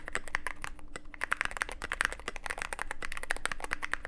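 Fingertips type steadily on a Cyberboard mechanical keyboard with plastic keycaps and a black aluminum case. A rapid, uneven stream of short, crisp clacks with a bright, clicky edge rides over a faint low hum.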